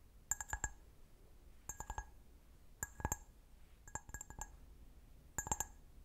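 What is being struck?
Glass wine glass.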